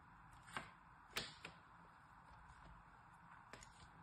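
A pen-like tool and a needle, held by long-nailed fingers, scratch and score the surface of a solid pink and white striped soap bar held in the hand and turned over. Quiet, bright scraping ticks and a few sharp clicks stand out over a steady low hiss, each dying away almost at once.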